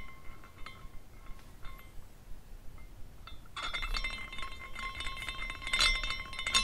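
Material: Glass.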